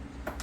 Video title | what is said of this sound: 도어 트림 방진과 질량 유지_도어 트림은 스피커 인클로저의 중요한 일부 이다 Car Audio door trim dust and mass maintenance 스타렉스 밴 카오디오 | 최근은 약간 탁한 소리 나는 거죠